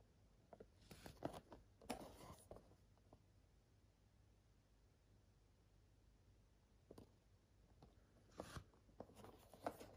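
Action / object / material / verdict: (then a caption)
scrape / printed cardboard game box / cardboard / none. A small, empty-looking printed cardboard Nintendo 64 game box for Jet Force Gemini is held in both hands and turned side to side while fingertips and nails scratch and rub its surface. Quiet, dry, crackly scratches and brief rubbing bursts come in uneven clusters, first in the opening seconds and again near the end. Between them is a long, near-silent stretch with a faint low hum.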